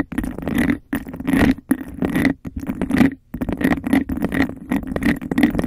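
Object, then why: Embossed glass cup. Long nails scratch and tap quickly on the bumpy outer surface of a hollow, empty, hand-sized cup of embossed textured glass held over the mic. Bursts of dry, rasping scratches alternate with quick taps and short pauses, with a hollow resonance around 300 Hz under a bright, gritty edge.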